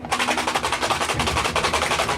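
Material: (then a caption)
Cardboard. A small cardboard Tassimo Nabob Breakfast Blend coffee box (5.5 x 2.75 x 2.75 inches, white, green, yellow, black and gray) is shaken, and its contents rattle in about sixteen quick, bright, wood-block-like knocks over two seconds. Music plays in the background.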